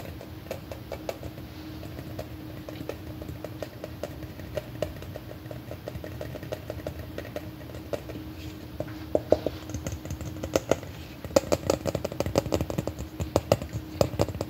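Fingernails rapidly tap and scratch the surface of a large, hollow, red plastic M&M-shaped candy container held in both hands close up. The dry, short plastic clicks sit over a low, steady hum and grow louder and denser in the second half.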